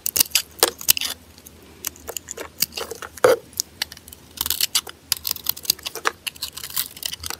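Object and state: Bar of soap being scraped and sliced.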